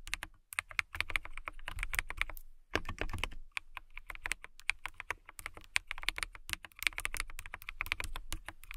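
Long nails and fingertips type steadily on a transparent acrylic mechanical keyboard with clear plastic keycaps, lit blue. Rapid, bright clacking keystrokes with a low thock underneath fill the clip, with a brief pause in the middle. Each click is short and dry.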